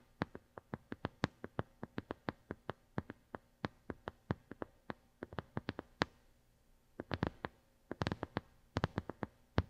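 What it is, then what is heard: Plastic brush pad tapped with fingernails. Long glittery nails tap repeatedly on a flat white plastic brush pad with a square grid pattern, held over a gold mini mic. Dozens of sharp, dry clicks come in a steady run, pause briefly around the six-second mark, then return in quicker clustered bursts. Each tap dies away almost instantly, with most of the weight in the low range.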